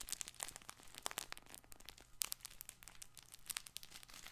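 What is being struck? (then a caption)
Soft fabric crinkle ball with crinkly lining. A soft multicolored fabric crinkle toy ball for babies is gripped, squeezed and scratched with fingers and short nails. The result is a dense run of dry, bright crinkling and scratchy crackles with very quick, sharp snaps and almost no ring, set over a faint low hum.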